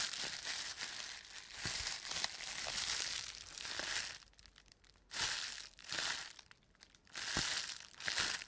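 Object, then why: Plastic bubble wrap. A hand squeezes a large, crumpled sheet of clear plastic bubble wrap in a fist, crushing and crumpling it and popping the air-filled bubbles. Bright, dense crinkling comes in surges, with sharp, short pops scattered through and brief quieter gaps between squeezes.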